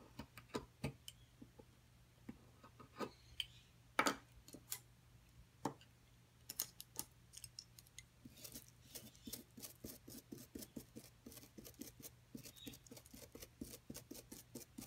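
A solid white plaster excavation block is held flat while a metal pick scrapes and chips into a growing hole, leaving a pile of powder beside it. Quiet, bright, short ticking scrapes and clicks come sparsely at first with a few sharper chips, then grow denser and more rapid in the second half over a low steady hum.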